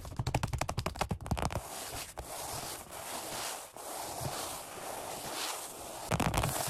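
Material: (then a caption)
Vinyl, foam. Fast fingertip tapping on a black padded workout bench seat with a red stripe, vinyl over foam. A quick run of dull, low thuds with crisp vinyl clicks gives way to a steady, bright scratchy rustle across the surface. A short burst of tapping returns at the end.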